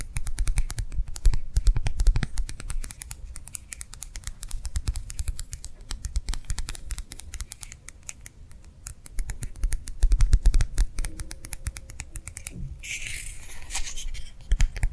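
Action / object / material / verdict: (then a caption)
tap / clear plastic gel hand warmer pad / plastic / none. A small, round, clear plastic gel-filled hand warmer pad is held up and tapped quickly with long nails. The taps come as fast, slightly uneven clicks with dull low thuds and very short decay, with a brief brighter rustle near the end.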